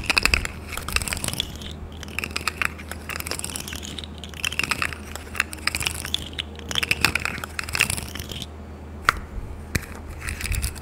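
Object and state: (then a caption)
Plastic pop tube toy. A hollow, corrugated rainbow plastic pop tube toy is pulled and compressed by hand. The result is a dense run of bright crackling clicks and crunchy pops over a low steady hum. Brief pauses break up the crackling.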